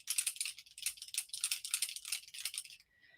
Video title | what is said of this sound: Holiday Pre-Launch Party | shake it until all that little Mica gets mixed up you can hear there's a ball in there